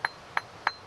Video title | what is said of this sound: Ray Mears' Wild Food (2) | it should have a real crystal sound like that that means there aren't so many flaws in the Flint